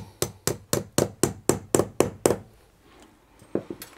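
A long metal wood screw, held in the fingertips with its tip in a small hole in a flat painted plasterboard wall on a hollow partition, is repeatedly tapped against it to probe the void behind. Nine evenly spaced, short, dull knocks with a hollow mid-low body ring out, then after a pause a few softer, quicker taps follow.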